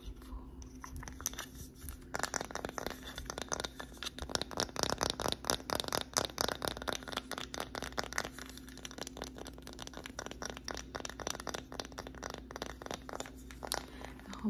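Long acrylic nails tap and scratch across the face and edges of a small, flat, solid wooden sign reading "Grateful" in white lettering. Rapid, dry clicks and crinkly, scratchy scrapes come in dense bursts with a bright edge, each dying away almost instantly over a faint steady hum.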